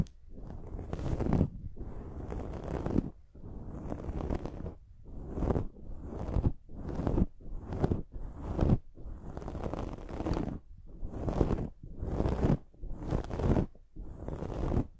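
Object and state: Foam microphone windscreen being scratched.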